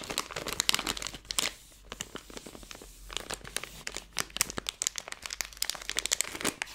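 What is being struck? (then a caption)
Plastic film candy bag. A Skittles bag made of plastic film is squeezed at the top in a fist, then the whole bag is crumpled between both hands. Sharp, bright crinkling crackles come in dense bursts, with a quieter stretch in the middle before the crumpling picks up again.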